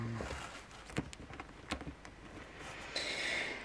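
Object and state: Plastic figure tapped and scratched with nails.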